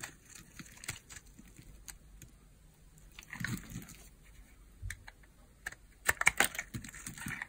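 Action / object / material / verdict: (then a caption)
scrape / hard bar of soap carved with a knife blade / soap / none. A small, solid, cream-colored bar of hard soap is held in the hand and carved with a utility knife blade, which scrapes off crumbly flakes. Quiet, bright, crisp scraping and crunching ticks come in irregular bursts, with a denser cluster of sharper crunches near the end.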